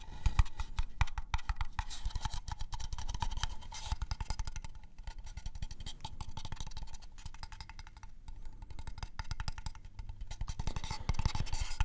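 An unfinished wooden craft-store box is tapped quickly on its different sides, giving a steady stream of short, dry wooden knocks with almost no ring. The taps are mostly low and thuddy, and the tone shifts a little as different sides are struck.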